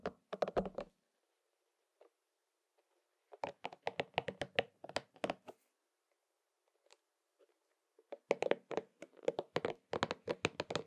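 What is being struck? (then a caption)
Soft rubber spiky massage ball. A hollow, pink and purple soft rubber spiky massage ball is held in both hands and tapped and scratched with the fingertips. Quick, dull, muted taps with a mid-range tone come in three dense bursts separated by near-silent pauses with faint scratching. Each tap dies away almost instantly, with no ring.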